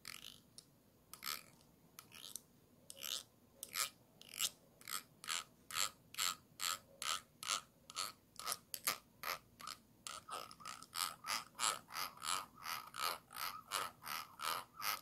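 A thin stick tool scrapes over the ridged bottom rim of a small, round, clear glass jar held upside down and hollow. It makes a rapid, ratchet-like series of short, bright scraping clicks that speed up into a steady rhythm, with a ringing tone near 1.3 kHz and almost no low end.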